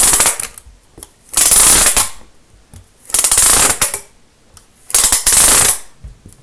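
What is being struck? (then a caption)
Thin plastic studded baseplate. A thin green plastic studded Lego baseplate is held up and scratched across its studs with a pen-like tool. Three fast, rasping bursts of bright, rattling scratching stand out, separated by short pauses with lighter taps and clicks between them.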